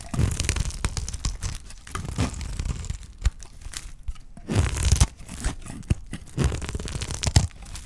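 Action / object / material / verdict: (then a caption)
scrape / bar of soap shaved with a blade / soap / none. A dry, solid green soap bar is held in the hand and shaved into curls with a utility knife blade. The clip is full of dense crunching and crisp scraping with sharp cracks, mostly low and thumpy with brief bright edges. The scrapes come in bursts with short quiet gaps between them.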